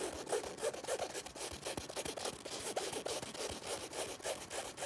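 Fingertips and nails scratch the flat panel and zipper area of a black nylon fabric zipper bag. The result is a steady stream of quick, irregular, dry rasping strokes, about three per second, with a bright, hissy texture and no pauses.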